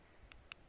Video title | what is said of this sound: Horse Care Tip 16 stethoscopes | if you turn it around though you can hear really well again